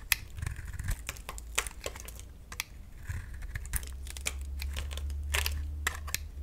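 A utility knife blade shaves a solid oval bar of dry green soap held in the palm, peeling off curls of soap as it scrapes. Quick, crisp scraping clicks and bright crackles come in irregular bursts over a steady low hum.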